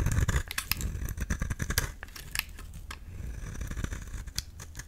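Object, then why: Bar of soap. A flat, rectangular, solid yellow soap bar held in the palm has its surface shaved and scraped with a utility knife blade, curling off soap shavings. The result is a rapid series of short, crisp scraping and cutting strokes with a low, dull body and bright, dry clicks at the edges.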